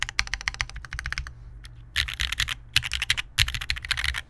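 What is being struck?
Mechanical keyboard with plastic keycaps and metal plate.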